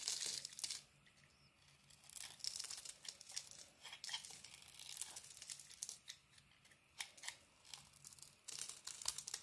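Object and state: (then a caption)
Bar of soap being carved. A solid, hand-sized bar of soap with a green coating is held in the hand and carved and shaved with a metal utility-knife blade, so shavings fall away. Crisp, bright scraping and cutting strokes come in bursts of crackly, tearing texture, separated by quiet pauses.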